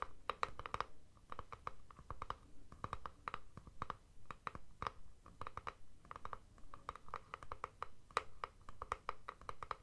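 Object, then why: Rigid plastic deodorant stick tube. A palm-sized rigid plastic Speed Stick deodorant tube is held in both hands and scratched and tapped with fingertips and nails. Quick, dry clicks and scratches come in rapid clusters, each with a light, hollow plastic tone around 1.2 kHz that dies away almost instantly.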